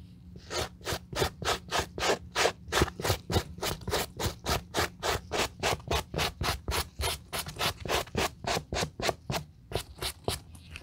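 A white plastic-bristle suede brush held in gloved hands is rubbed and scrubbed across the upper of a hollow, empty grey-brown suede high-top sneaker resting on a towel. About 37 quick, bright, scratchy bristle strokes sound in a steady back-and-forth rhythm over a faint low hum.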